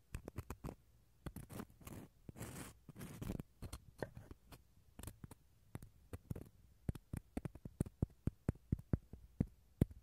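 A wooden toothpick scratches the inner pith of a small, empty, hollow dried gourd shell half. The result is a quick run of dry, dull scratches and clicks with no ring, with longer rasping scrapes in the first few seconds. Sharper, more separated ticks follow toward the end.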